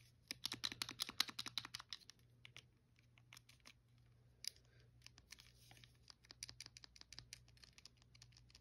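A blue hollow plastic Wii controller held in one hand is tapped and clicked on its buttons and front casing by a thumb and fingernails. Quick, dry, high-pitched clicks come in an irregular stream: a dense burst at first, sparse taps through the middle, then another flurry, over a faint low hum.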